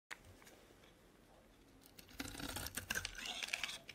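A metal utility-knife blade scrapes and carves curls and flakes off a solid purple Palmolive soap bar held in hand. After a faint scratch at the start and near-quiet, it gives bright, crisp shaving and crackling scrapes that grow denser and louder in the second half.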